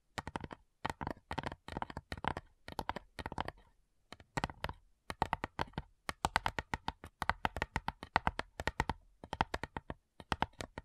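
Long nails tap quickly on the printed lid of a small, flat, light wooden box with metal clasps, which is hollow. The taps come in rapid bursts separated by short pauses, each one a dry, clicky knock with a hollow midrange tone that stops almost instantly.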